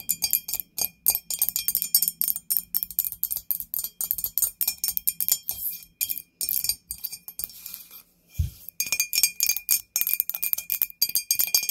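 A ghost-shaped candle holder is tapped with fingernails in rapid, uneven bursts of bright, sharp clinking clicks with almost no ring. The taps continue steadily, pause briefly around eight seconds where a single low thump sounds, then resume.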